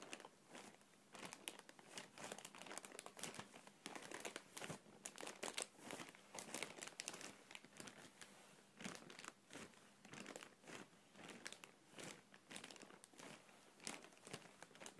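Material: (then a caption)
Plastic film. A clear, thin, hand-sized plastic air cushion packaging bag with blue print, hollow and partly air-filled, is held in both hands and squeezed and rubbed with the fingertips. It produces soft, continuous crinkling in irregular bursts, bright and crackly with very little low end. The sound stays quiet and close throughout.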